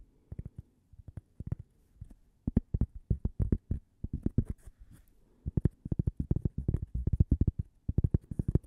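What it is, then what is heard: Cork coaster. A single small, flat, toaster-shaped cork coaster, solid and thin, is held in one hand and tapped and scratched with long painted fingernails. Dozens of quick, dull, low taps come in rapid bursts with brief pauses between them, each dying away almost instantly with no ring. A faint scratchy rustle lies underneath.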